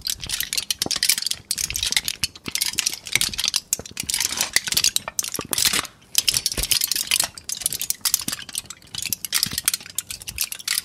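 A crumpled sheet of thin aluminum foil is held in both hands and crinkled, pressed and scratched with the fingers. The result is dense, bright, crackling rustles in short bursts with brief pauses between them, with almost no low end.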